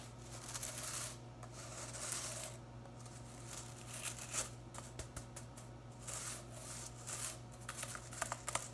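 A blue synthetic-bristle broom head is pressed against a fabric-covered table, then lifted while long nails and fingertips scratch and strum through the plastic bristles. Bright, scratchy rustling comes in bursts with crisp ticks and flicks, over a steady low hum.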